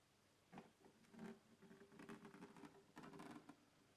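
Fingertips and nails scratch and tap the textured lid of a closed black hard plastic microphone carrying case with its contents inside, lying on a wooden table. Soft, close scratching and patter come in several bursts over a low hum, with a faint tonal ring around 220 Hz and short, dry decays.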